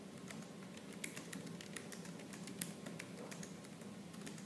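Fingertips with purple nails type quickly and continuously on a laptop keyboard's black plastic keys, producing a steady run of light, bright clicks and taps. A slight fan hiss runs underneath throughout.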